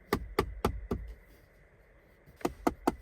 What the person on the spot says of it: jednak po lewej stronie jest on już zupełnie twardy